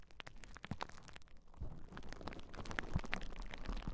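A large sheet of clear plastic bubble wrap is held across the microphones while hands press, scratch and pop the bubbles. Dense, irregular crackles and sharp snapping pops sit over a heavy low rumble that grows slightly louder toward the end.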